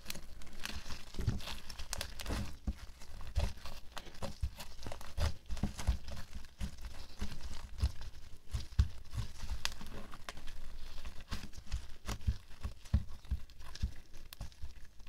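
A flat sheet of pink-speckled white homemade glue slime is pressed, pulled and kneaded on a white table by both hands in pink latex gloves, working it with the fingertips. It gives a steady run of wet, sticky crackles and tearing, crinkly pops, layered over soft, low thumps as the slime is pushed against the table. The sounds are short and dry, with no ring after them.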